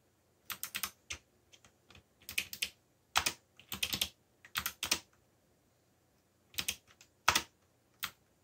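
Fingertips type on a backlit mechanical computer keyboard with black plastic keycaps. Bursts of sharp, bright, clicky keystrokes come in irregular clusters separated by short pauses. Each tap dies away almost instantly, with very little low end.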